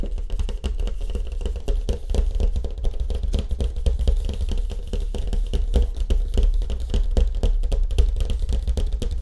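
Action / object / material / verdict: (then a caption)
tap / surfboard with wood grain finish / unknown / none. Fast fingertip tapping on the wood grain finish of a surfboard produces a dense run of short, dry taps with almost no ring. The taps are heavy in low frequencies and continue without pause for about nine seconds.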